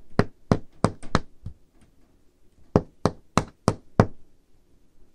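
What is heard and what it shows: Painted fingernails tap on the large, solid, dark-stained wooden table top in two quick, uneven bursts separated by a short pause. Each tap is a short, dry knock with a low, woody body and a bright click that dies away almost instantly.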